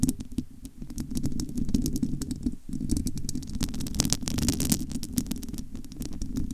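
Long almond-shaped nails of both hands scratch the bare, domed metal wire-mesh grille of a large hollow studio microphone. The result is a dense, continuous low rumbling scrape threaded with many sharp, bright ticks, with a brief dip just past the midpoint before the scratching resumes.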